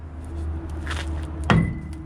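A hammer strikes the seized steel rear brake rotor on a 2001 Ford F250 with the 7.3L engine to knock it off the hub. Over a steady low background hum, one sharp metallic blow rings briefly with a dull, solid tone. The rotor is stuck fast on the hub.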